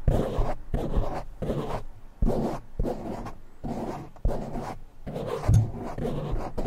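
A palm-sized, soft and porous black foam windscreen covering a silver condenser microphone is scratched fast by fingertips and short nails from both hands. The result is a rapid series of dense, rough scratching bursts with short gaps between them, heavy in low rumble with some bright hiss.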